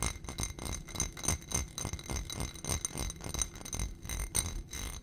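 Fingernails tap and scratch quickly on the sides of a small ribbed glass dish on a gold stem, filled with white contents. The taps come fast and irregular, each a short click with a dull low thud and a brief bright glassy ring, while soft scraping fills the gaps between them.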